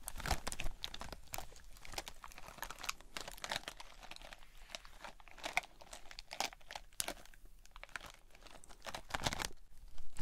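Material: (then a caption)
Gel beads. A hand-sized, mesh-covered water bead stress ball, filled with red gel beads inside a white net mesh, is squeezed and scratched with long nails. It gives dense crunchy, crinkling squelches with bright clicky transients over a low rumble. The sound is continuous and busy, with short, dry bursts that don't ring on.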